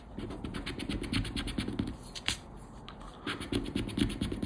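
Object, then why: Coated paper scratch card. A thin coated-paper lottery scratch card (Aranha da Sorte) lies flat on a black cloth and is scratched with a round black plastic scraper held in the fingers. Quick, uneven bursts of dry scraping rasp repeat in short strokes, with a brief pause before the scratching resumes.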